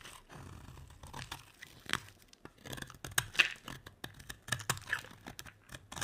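A metal utility blade carves a solid, hand-sized oval bar of dry yellow soap, with shavings piling up. Many short, crisp scraping and crunching cuts follow one another, bright and dry with almost no ring.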